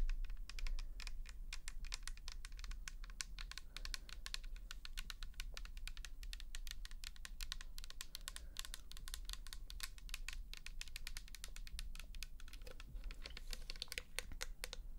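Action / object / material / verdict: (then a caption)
tap / plastic bottle with liquid / plastic / none. A pink plastic toner bottle holding liquid is tapped and scratched with long nails, making a fast, steady stream of sharp, bright clicks and scratchy ticks for the full clip. The tapping stays quiet and even, over a constant low hum.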